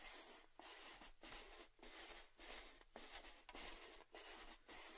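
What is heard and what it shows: A red, hollow, cylindrical Baileys tin tube is held while fingertips and short nails rub and tap along its side. The result is a run of quiet, bright, scratchy rubbing strokes separated by brief gaps, with a faint metallic tone underneath.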